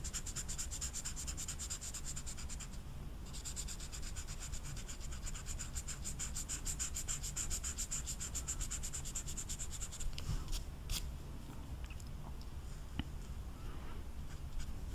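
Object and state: Marker rubbed on velvet-flocked paper.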